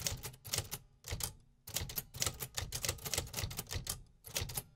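Fingertips tap steadily on the keys of a vintage, hollow metal 1950s typewriter. Each key strike gives a sharp, bright mechanical clack over a low, hollow thump that dies away quickly. The strikes come in quick runs with short pauses between them.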